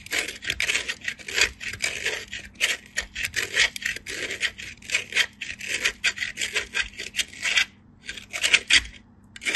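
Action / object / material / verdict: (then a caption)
scrape / soap bar on steel grater / soap / none. A solid white bar of soap is pushed by fingertips across a small perforated steel grater in close-up. Quick, repeated bright rasping scrapes run almost continuously, with a brief pause near the end before the grating resumes.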